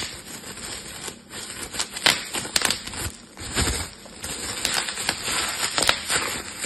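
A sheet of clear plastic bubble wrap with hollow air cells is twisted and squeezed between the fingertips of both hands. Sharp, bright pops snap out over a steady, dry crinkling of the plastic, with very little low end.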